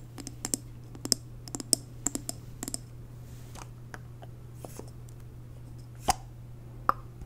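Long nails tap the glass sides and top of a large WoodWick candle in a blue glass jar, full of wax and held in the hands. A quick run of sharp, bright clicks clusters in the first three seconds, then fades to soft, sparse taps, with two louder clicks near the end. Each click dies away instantly over a steady low hum.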